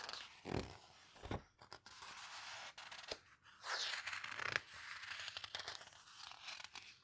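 Fingertips with long red nails turn and squeeze the pages of an open paper photo book. Crisp, bright paper rustles and crinkles come in short bursts with quiet gaps between them, alongside a few soft low thumps as pages settle.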